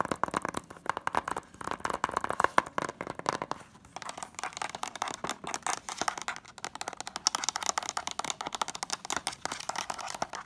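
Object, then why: Plastic DVD case. A white, hollow, closed plastic DVD case is tapped on its front and then fast-tapped along its spine edge with long nails. A rapid stream of short, dry clicks with a hollow plastic tone rises from 0, centered near 1 kHz in the first half and brightening as the tapping shifts to the spine.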